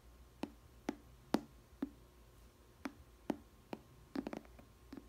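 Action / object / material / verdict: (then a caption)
tap / glass food container with plastic lid / plastic / none. Long nails tap and scratch the clear plastic lid of a small square glass food container with a green rim and bread inside. Quiet, short, dry taps with a hollow low tone near 280 Hz and brief bright clicks come at irregular intervals, with a quick cluster of taps near the end. Each tap dies away almost instantly.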